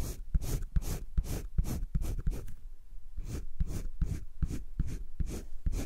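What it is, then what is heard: Pencil shading on sketchbook paper. A green colored pencil makes dense shading strokes over thick cream drawing paper in a spiral sketchbook. Quick back-and-forth scratches repeat at a steady, fast pace, with a brief pause partway through. Each stroke gives a soft, low, papery rasp with short bright flicks of grit.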